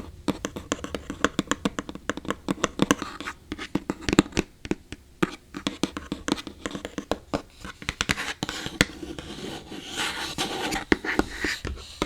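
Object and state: Hollow empty box.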